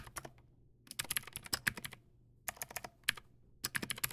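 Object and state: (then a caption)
Plastic mechanical keyboard. Both hands type with fingertips on a backlit Teamwolf Zhuque+ X08 plastic mechanical keyboard with white plastic keycaps and clicky blue switches. Sharp, bright clicks come in quick, uneven bursts separated by short pauses, each keystroke snapping off almost instantly.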